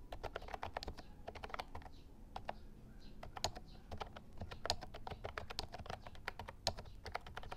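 Both hands type with their fingertips on the round plastic keycaps of a white and lilac Actto Retro Pop Mini Bluetooth mechanical keyboard. A steady run of sharp, bright plastic clicks comes at an uneven pace, with some keystrokes louder than others. A low background rumble continues underneath the whole time.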